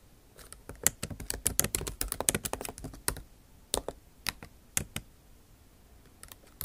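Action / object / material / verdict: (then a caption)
tap / plastic laptop keys tapped with fingernail tips / plastic / none. Long acrylic nail tips tap across the bare plastic keys of a backlit MacBook Pro keyboard set in an aluminum body. A fast burst of bright, sharp clicks runs for about three seconds, then slows to scattered single taps with quiet gaps. Each click is short and dry with almost no ring.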